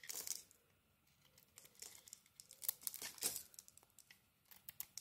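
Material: Soap.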